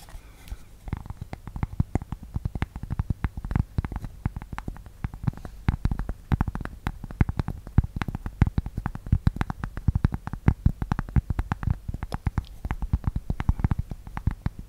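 A thin, solid, flat rectangular cork board held close to the microphone is scratched and tapped with long nails and fingertips. The result is a dense, continuous stream of quick, dry, low-pitched taps and soft scratches with no ring, and a muffled thud underneath.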